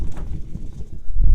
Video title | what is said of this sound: Kickstarter Special-Asteroid Dice, Battle Systems and Cinematic Barbarians | You shake it and it sounds like thunder.